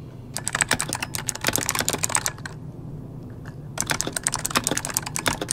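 Both hands type rapidly with their fingertips on an RGB-lit plastic mechanical computer keyboard with hollow key switches resting on a desk. The keys give quick, bright clacks with a short, hollow knock. A burst of typing is followed by a brief pause with a low background hum, then a second burst.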